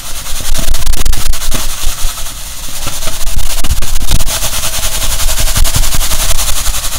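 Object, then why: Foil-covered insulating bag. A silver foil-covered insulating bag is held up, crumpled, shaken and scratched with the fingers. Fast, uneven bursts of crinkling and rustling carry bright hiss and low thumps throughout the clip.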